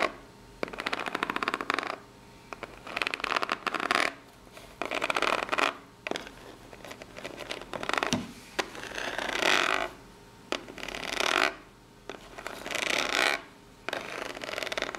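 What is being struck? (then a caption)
Corrugated cardboard box. Long natural nails with pink acrylic polish scratch and tap the ribbed surface of a small, hollow brown corrugated cardboard box held on a table. Bursts of bright, raspy scratching with rapid ticking texture alternate with short quiet gaps and a few sharp, quick taps that die away almost instantly.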